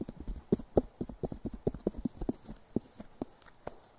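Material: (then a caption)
Polystyrene. Fingertips tap on long, solid, lightweight white polystyrene foam strips, two of them crossed together and held up close. A quick, uneven run of hollow, clip-clop-like knocks follows, each dull and woody with a midrange pitch near 410 Hz. Every knock dies away almost instantly, with little brightness.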